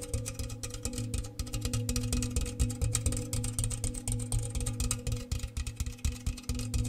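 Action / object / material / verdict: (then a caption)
tap / round metal cookie tin / metal / none. A large, round, hollow, empty metal cookie tin with a bare metal interior is held in the hands and tapped rapidly with the fingernails. The quick, uneven taps produce a low, hollow, resonant tone with a short metallic ring and faint high clicks.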